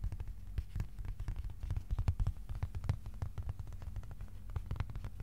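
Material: Cardboard.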